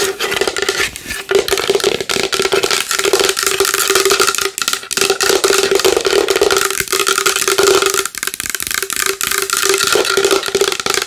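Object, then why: Large wooden bowl. A large wooden bowl is tapped fast and hard with long nails, making a dense, continuous stream of short, dry clicks. A steady hollow tone around 410 Hz rings under the clicks, with bright, crisp edges on top.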